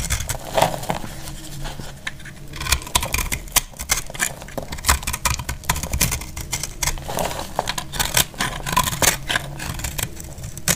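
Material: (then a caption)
Soap. A utility knife blade scrapes fine, crumbly shavings off a solid bar of dried brown speckled soap held in the hand. Dense, rapid, crisp scraping clicks and crackles with bright edges sit over a steady low rumble, each stroke stopping sharply with almost no ring.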